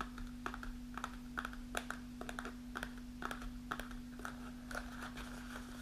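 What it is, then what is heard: Kraft paper snack pouch. Long nails tap the front panel of a kraft paper snack pouch held upright and partly filled with dried mulberries. The result is a quick, irregular run of light, papery clicks with a faint crinkle, all at a quiet level over a steady low hum.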